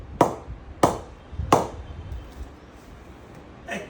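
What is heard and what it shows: A limited-edition English willow cricket bat with close, neat grains is knocked lightly on its face: three sharp, ringing knocks, each centred around 800 Hz and decaying quickly, followed by a softer fourth tap. The sound is full from every part of the blade, a good-sounding bat.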